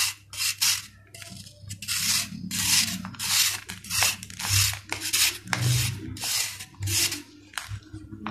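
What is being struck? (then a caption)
Sand-cement ball scraped with a steel knife. A steel kitchen knife scrapes across the flat cut face of a solid sand-cement ball in repeated strokes. Each stroke is a bright, gritty rasp, coming at a steady, somewhat uneven pace, over a faint low hum.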